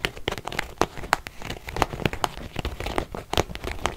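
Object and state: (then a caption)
Faux leather zip wallet. A small beige quilted faux-leather zip purse with a metal zipper, soft and hollow, is held in both hands and scratched with long painted fingernails. A rapid, uneven series of dry, crinkly scratches and sharp clicky taps sounds over a soft, low rustling bed. Each scrape cuts off almost instantly, with no ring.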